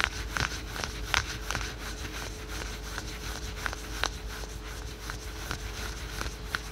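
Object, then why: Spandex/polyester stretch leggings. Fingertips and nails scratch the printed fabric of patterned spandex/polyester yoga pants worn on the thigh. The result is quick, irregular bursts of bright, crisp scratching over a soft rustle, with a faint steady low hum underneath.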